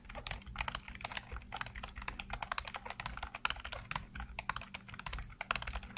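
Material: Plastic.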